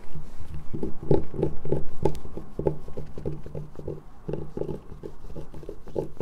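A solid light-blue bar of soap is scratched and scraped with long nails while held near a table over soap shavings. Rapid, dull, low scraping strokes come in a fairly steady rhythm of about three per second. Each stroke is short and crisp with almost no ring, and the scraping grows a little softer toward the end.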